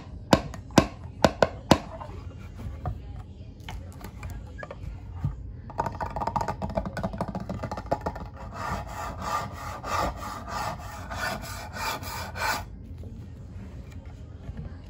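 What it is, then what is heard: Solid wood mancala board. A closed solid wooden mancala board, about 45 cm long, is held upright and then laid flat on a towel beside untouched glass stones, while fingertips and nails tap and rub its smooth top surface. Five sharp, dry taps ring out first, followed by soft scratchy rubbing. This builds into a steady rhythmic swishing with a bright hiss before it fades to quiet scraping.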